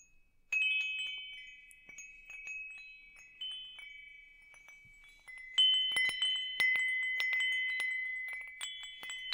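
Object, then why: Metal tube wind chime. A hanging wind chime with hollow metal tubes is held up and swayed so the tubes strike one another. Bright, high ringing tones around 3 kHz sound at irregular moments, each sustaining and slowly fading before the next strikes, with a busier cluster of rings toward the end.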